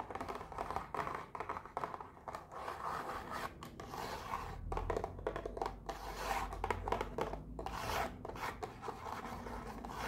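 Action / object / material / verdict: scrape / small cardboard box / cardboard / none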